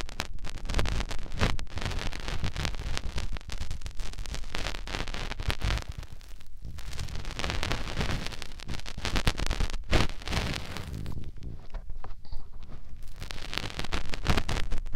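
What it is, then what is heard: Silicone microphone ear rubbed with fingers. A fingertip rubs inside the ear canal of the white silicone ear on a binaural microphone. The result is close, muffled scratching and rustling, heavy in the low end, with many quick rubbing strokes blurring together.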